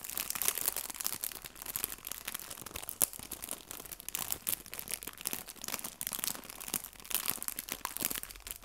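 A small, flat, clear, thin plastic cellophane bag full of artificial fabric maple leaves is held in both hands and crinkled and pressed with fingertips and red-painted nails. The result is a steady stream of bright, high crinkling and crackling, with sharper louder bursts scattered through it and almost no low end.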